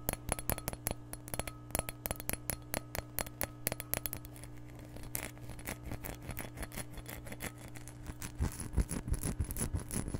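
A glass measuring cup is tapped and scratched close around a microphone, giving a fast, irregular run of short, bright clinks that die away almost at once over a steady low hum. The taps thin into softer scratching around the middle, then return louder and denser toward the end.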